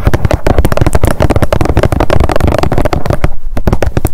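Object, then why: Plastic squeeze tube. Long nails tap rapidly on top of a partly filled blue plastic squeeze tube of sunscreen lying on a fluffy mat. The result is a fast, steady stream of dull, low, hollow clicks and thuds, each dying away almost at once.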